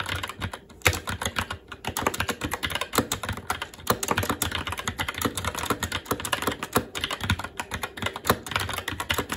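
Fingertips of both hands type continuously on a SteelSeries Apex 7 TKL mechanical keyboard with Red switches, black plastic keycaps on a metal plate, and a hollow RGB-backlit case resting on a desk. A dense, steady stream of short, clacky keystrokes mixes bright plastic clicks with a low, hollow thud, and occasional louder strikes stand out. Each press dies away almost instantly.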